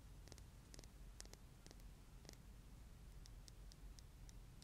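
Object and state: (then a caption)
Glass nail polish bottle. Long green-painted nails tap a small glass nail polish bottle, full of neon yellow-green polish with a silver cap, held in one hand outdoors. Light, bright glassy ticks land in an irregular run over a steady low rumble that stays louder than the taps throughout.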